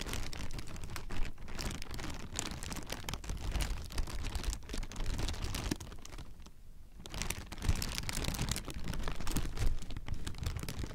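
Clear plastic air-pillow packing with inflated chambers is squeezed and crinkled with fingertips. Dense, continuous crackling and crinkling runs throughout, with a brief quieter lull around the middle before the crinkling picks back up.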